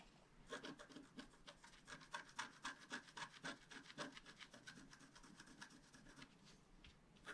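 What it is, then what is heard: Scratch-art card being scratched. A wooden stylus held in the fingers scratches the black coating off a flat, roughly A4 scratch-art card lying on a table, revealing colour underneath. Quick, uneven strokes produce dry, bright rasping scrapes with a papery hiss, each ending abruptly.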